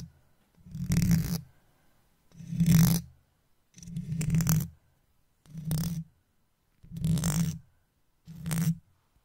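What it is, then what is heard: Metal mesh microphone grille scratched. A wooden toothpick held in the fingers scratches the side of the hollow metal mesh grille of an uncovered microphone in six separate strokes. Each stroke makes a deep, boomy rumble with a bright, gritty rasp on top, and the strokes are separated by short silences. At the end the toothpick is pulled away.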